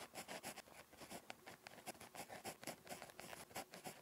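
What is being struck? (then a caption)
Ballpoint pen on a paper notebook page. A ballpoint pen tip scratches across a thin, flat lined paper notebook page while writing Korean script. It makes a quiet series of short, dry, bright scratching strokes with brief pauses between them.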